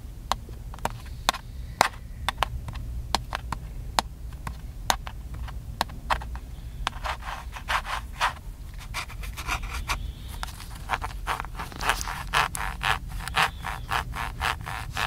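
Fingertips rub, scratch and tap the casing of a small black plastic handheld camcorder with a hollow body. Sharp, bright clicks and short scratchy strokes come in a loose, irregular rhythm over a steady low rumble, growing denser and busier toward the end.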